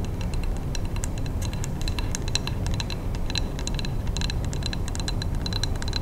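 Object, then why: Wax-filled glass candle jar. A large Bath & Body Works three-wick scented candle in a glass jar, with a paper label and metal lid and filled with wax, is held in both hands and tapped with long manicured nails. The result is a rapid, steady patter of bright, short glassy ticks with a faint high ring, over a continuous low rumble.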